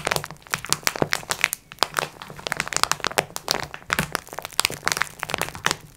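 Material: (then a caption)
Plastic film. Long nails scratch and tap the plastic film near the edges of a plastic-wrapped multipack of sponge cloths resting on a table. The result is a dense run of bright, dry crinkles, crackles and sharp clicks that stop instantly, with almost no low end.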